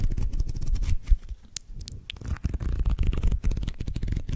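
A paperback manga volume with a green cover and a solid block of paper pages is held in the hands while fingers riffle the pages and tap and scratch the cover close to the mic. Dense, low, muffled rustling and quick soft taps fill the clip, with a quieter patch of scattered scratches in the middle and a few faint, bright ticks.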